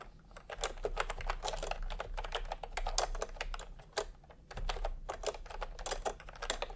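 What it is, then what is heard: Plastic keyboard being typed on. Fingertips type on a full-size plastic retro computer keyboard with round pastel typewriter-style keycaps and a hollow body, resting on a white cloth. Quick, hollow plastic clacks fall in steady bursts with a brief pause near the middle, over a faint low hum. The keystrokes are short and dry, centered around a mid-range tone with bright edges.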